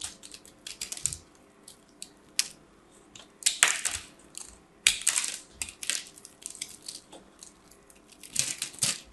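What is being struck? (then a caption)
Pressed soap-shred ball scraped by a knife blade. A knife blade scrapes and cuts into a solid, fist-sized pink ball of pressed soap shreds held in one hand, crumbling pieces away. Irregular bursts of bright, dry crackling and crunching scrapes come and go, with short quiet gaps between strokes and louder, denser crumbling passes near the middle and end.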